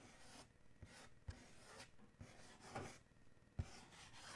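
Fingertips and nails rub and scratch across the lid of a large, hollow black Adidas cardboard shoe box, making soft, dry rasping strokes with a bright hiss. A few dull, low thumps stand out between the strokes.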